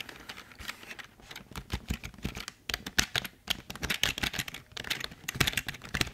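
Fingertips press and tap the keys of a full-size, hollow black plastic Logitech keyboard. The result is a steady run of quick, bright clicky taps with a short, dry decay and a light hollow low thump beneath them.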